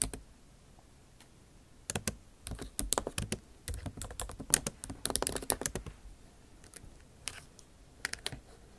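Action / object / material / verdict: tap / plastic laptop keys in a metal body / plastic / none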